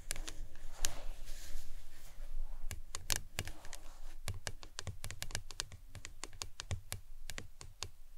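Long acrylic nails tap a tall, hollow, printed plastic lemonade tumbler cup with a green plastic lid, which looks empty and is held upright on a towel. The result is a quick, irregular run of sharp, dry clicks with bright edges over a soft low thud. Each tap stops almost instantly, with no ring.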